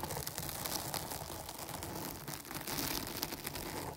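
Long nails scratch quickly over the sides and top of a dark foam microphone windscreen. The result is a steady, dense, crackling rustle spread across low and bright tones, with quick scratchy flicks that never separate into distinct hits.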